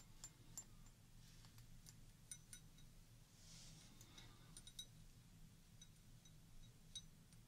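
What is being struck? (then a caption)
Glass tumbler partly filled with water. A small, round, clear glass tumbler, partly filled with water and held in one hand, is tapped with long orange-painted nails, then lowered to the table. Scattered light, bright clinks ring only briefly over a steady low hum.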